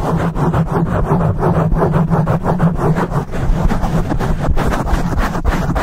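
Fingertips and short nails rapidly scratch a dark foam windscreen on a microphone, producing a steady, dense rumbling rustle. The sound is heavy in the low end with a low hum around 62 Hz and rhythmic bursts of scraping, and almost no high content.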